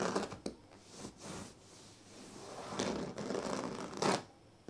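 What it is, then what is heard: Woven reed sleeping mat. Fingertips and nails of both hands rub and scratch across a large flat sleeping mat woven from thin dyed reed strands, with a plastic comb lying still nearby. The result is dry, broadband scratching and rustling: louder bursts of raspy scratches with bright hissy edges, alternating with softer, steady rubbing that fades quickly between strokes.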